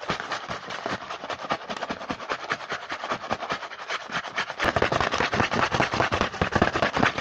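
Fingertips rapidly tap and scratch the front of a small printed cardboard Hanuta snack box held in the hand. The result is a dense, uneven stream of short, dry clicks and scratchy rustles with a papery midrange. Past the midpoint the tapping turns noticeably louder and fuller.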